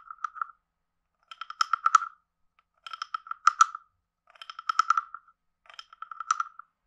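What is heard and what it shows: A wooden stick is scraped along the ridged back of a hand-sized, hollow, carved wooden frog guiro held in one hand, and also tapped on it. Five separate bursts of rasping, croak-like clicks with a steady woody tone around 1.3 kHz and brief bright ticks are heard. Each burst stops short, with silence in between.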